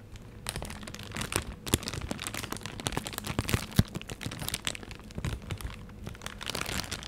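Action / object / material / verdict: scrape / thin plastic bag / plastic / none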